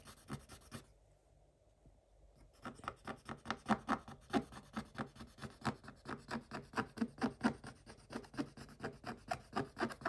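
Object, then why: Scratch-off coated paper page scraped with a wooden stick. A wooden stick scratches across a scratch-off coated paper page. A few dry scratches are followed by a brief near-silent pause, then a steady run of quick, raspy back-and-forth strokes with a bright papery edge.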